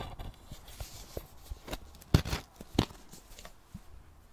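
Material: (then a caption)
Metal. Long nails tap and scratch the lid and side of a small round metal tin of thinking putty with a silver lid. Soft, irregular scratches and light clicking taps are heard, with two sharper, louder taps near the middle. Each tap is short and dry with almost no ring, leaving a faint bright edge.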